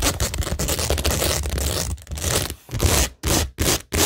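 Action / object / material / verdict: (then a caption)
scrape / cork board covered in rhinestone mesh and pearl stickers / rhinestones, cork / none. Long nails scratch over a flat, solid framed tingle board covered in pink rhinestone mesh and pearl stickers on cork, making a dense, bright, gritty scraping with a low rumble underneath. The scratching runs continuously at first, then breaks into shorter separate strokes with brief silences between them.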